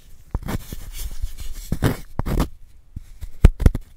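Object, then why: Gym chalk block scraped with a wooden spoon. A wooden spoon scrapes and scratches into a palm-sized solid white gym chalk block held in a gloved hand. Dull, gritty scraping bursts are broken by short sharp snaps, and the sound sits mostly in the low end. The block crumbles into powder.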